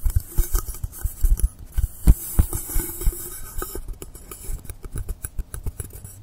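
Fingernails scratch and tap the top surface and edge of a long, solid blue polystyrene foam block lying angled on a table. Dull, low thumps and soft clicks mix with a bright, airy scratching hiss for the first few seconds. The sound then thins to quicker, sparser, crisp taps.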